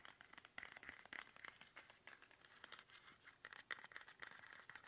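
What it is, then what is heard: Plastic toothpaste tube. Fingertips tap fast on a small, soft, hollow, squeezable plastic toothpaste tube held upright in both hands. The result is a quiet, rapid, irregular stream of short, crisp, crinkly clicks and scratches. They are bright and centered around the upper mids, with almost no low end.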